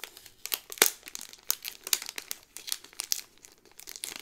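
A Cinderella pin on a pink cardboard card inside a clear plastic bag is turned over, and the sleeve is crinkled with fingertips and long nails. The result is a steady string of sharp, bright plastic crackles and crinkles with very little low end, each snap dying away almost instantly.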